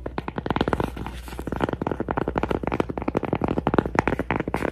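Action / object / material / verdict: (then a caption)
tap / cork coaster / cork / none. A cork coaster is tapped and scratched in a rapid, uneven series of soft, dull taps mixed with light scratching. The sound is muffled and low-mid, with little high brightness, and each tap dies away almost instantly.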